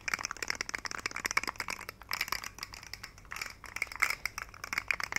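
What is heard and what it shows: A hand-sized rainbow plastic fidget slug toy with hollow jointed segments is held up by the fingertips and wiggled and shaken so its segments click. Dense bursts of quick, dry, bright clicks and rattles rise and fall in clusters, centered around 2 kHz with very little low end.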